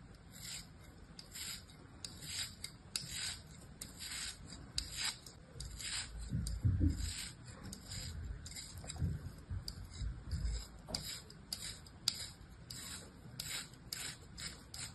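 An orange utility-knife blade makes repeated slicing and scraping cuts through a small, solid lump of packed kinetic sand held in the palm. Each stroke gives a short, dry, gritty rasp with a bright, hissy top. Soft low thumps sit underneath, and the strokes come in a steady, quiet rhythm.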